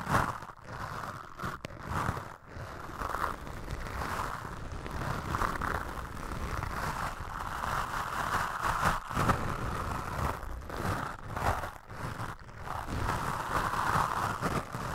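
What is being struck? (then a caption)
Foam microphone windscreen. Toothbrush bristles brush and scratch across a black foam windscreen on a microphone. The result is a continuous, dense scratchy rustle with a midrange hiss band and a soft low rumble underneath, swelling and dipping with brief quieter gaps between strokes.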